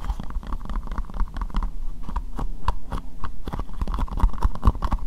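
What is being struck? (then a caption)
Plastic bowl. Long nails tap rapidly on the inside and outside of an empty, hollow, translucent pink plastic bowl. The result is a steady stream of quick, dull, hollow clicks and knocks with a low thudding body and a faint mid-range resonance. Each tap dies away almost at once.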